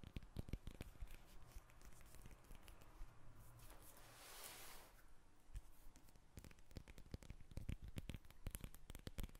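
Long red nails tap and scratch the peel of a whole yellow lemon held in the hands, giving soft, quick clicks with a dull low thump. Midway the taps give way to a brighter, hissing scratch across the peel before rapid tapping resumes. The sound is quiet and close, with each tap dying away at once.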